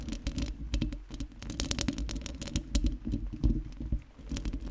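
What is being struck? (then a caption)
Metal mesh microphone grille. Long nails on both hands scratch the round metal mesh grille of a microphone. The result is a dense, irregular patter of scratchy clicks with bright, crisp edges over a heavy, close low rumble, swelling and fading in uneven bursts.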